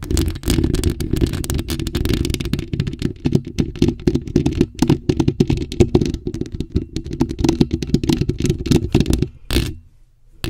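Long acrylic nails cupped around a bare, hollow black metal mesh microphone grille scratch it fast. The result is a dense, rapid run of scraping and clattering rasps with a boomy, low-heavy body and little high end. The scratching stops near the end, gives one short final burst, then falls almost silent.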